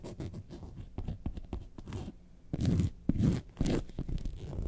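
Long nails scratch the top panel of a yellow faux leather lemonade-carton bag lying on its side. The result is a run of quick, dry, muffled scratches, mostly low in tone. Three louder, rougher bursts stand out near the end.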